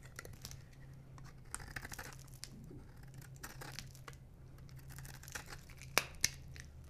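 A metal knife blade scrapes a solid light blue bar of dry soap, which crumbles in the hand. Quiet, bright, dry scratching and crunching runs throughout over a steady low hum, with two sharper cracks near the end.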